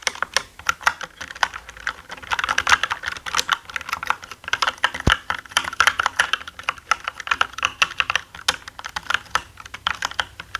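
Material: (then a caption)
Plastic. Both hands type fast with their fingertips on a black mechanical gaming keyboard with plastic keycaps. A steady stream of sharp, short, bright clacks comes in uneven bursts, with very little low end. One single click near the middle stands out louder and fuller.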